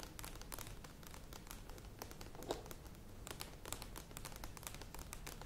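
Long nails tap quickly on the sides of a medium plastic yogurt tub with a lid standing on a table. The result is a dense, steady stream of light, bright clicks and crinkly ticks over a quiet low rumble, with one slightly sharper tap midway.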